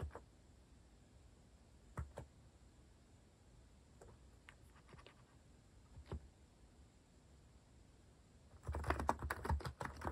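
A compact white-case mechanical keyboard with cream and orange cat-themed plastic keycaps, sitting on a wooden desk, is tapped with the fingertips. Scattered, isolated key clacks with a low thock and a bright, quick-fading click are followed by a dense, rapid flurry of typing at the end.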